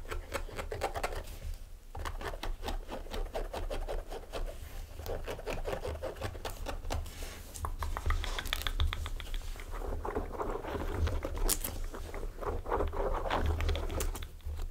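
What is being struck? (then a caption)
Suede boots. Fingertips and nails scratch and tap the suede uppers of a pair of small tan suede UGG kids boots with sheepskin lining, both of the same material, sitting hollow and empty on a table. The result is a steady stream of soft, dense scratches and quick light taps over a constant low rumble.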